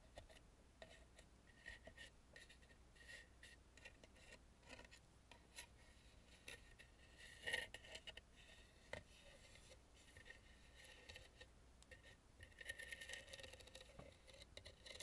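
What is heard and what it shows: Fingertips and nails rapidly tap and scratch around the carved mouth and beard of a hollow, carved, painted wooden mask lying face up. The sound is a quiet, dry, bright scratching with short, clicky taps that die away almost at once, and a tonal edge sits near 1.8 kHz. A few sharper taps stand out, the loudest just past the midpoint.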